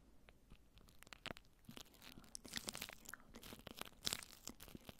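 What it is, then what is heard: Plastic cling wrap over a microphone. Long nails scratch and brush over crinkled clear plastic cling wrap stretched around a microphone head. The result is a dense run of sharp, bright crinkling and crackling bursts with a soft, low background rustle. The bursts come irregularly and peak loudest near the end.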